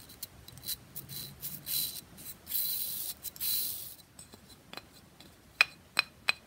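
Long fingernails tap and scratch the surface and edges of a hand-sized, rectangular pressed bath bomb brick with a segmented grid top, held in one hand. For about four seconds there is a dense run of bright, hissy scratching strokes, followed by faint scattered clicks. The clip ends with three sharp, crisp taps.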